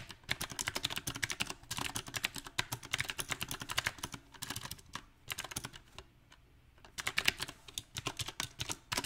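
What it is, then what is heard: Mechanical keyboard typing. Both hands type with their fingertips on a compact backlit mechanical keyboard with round plastic typewriter-style keycaps. Quick, bright, crisp key taps come in an uneven rhythm, with a brief quiet pause about two-thirds of the way through before the typing resumes.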